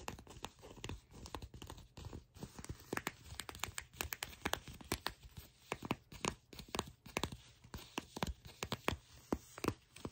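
Long pink nails tap and scratch a fold of soft, brown, glossy leather pants held close up. The result is a quiet, continuous stream of dry, crackly clicks and scrapes, with many short sharp transients that sound a little like bottle caps over a faint low hum.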